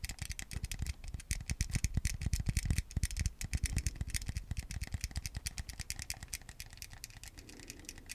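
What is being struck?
Plastic game remote.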